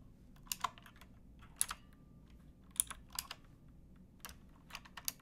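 Fingertips with painted nails type on a pink backlit plastic mechanical keyboard with round keycaps and a hollow case, resting on a wooden box. About twelve sharp, bright clicks come in loose pairs and single taps with uneven gaps, each dying instantly over a faint low background rumble.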